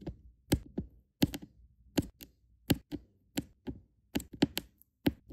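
Small solid resin diamond painting drills are tapped into rows on a sticky adhesive canvas with a plastic drill pen. About thirteen light, dry taps come in irregular clusters, each a short thunk around 280 Hz with a quick bright click. Every tap dies away almost instantly, leaving brief silences between them.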